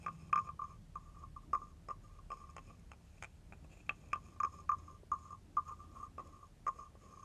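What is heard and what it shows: A hand-held carved wooden frog guiro with a ridged back has a wooden stick scraped along its ridges. The result is a series of short, dry wooden rasps and clicks at irregular intervals, with a croak-like midrange tone and brief bright edges. Each stroke dies away almost at once over a faint low background rumble.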